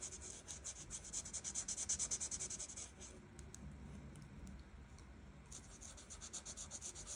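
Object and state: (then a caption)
Marker coloring on paper. A felt marker tip rubs rapidly back and forth across a flat paper coloring page, filling in orange flower petals. It makes a bright, scratchy hiss in quick, uneven strokes of about three per second. The strokes soften and grow quieter in the middle before picking up again.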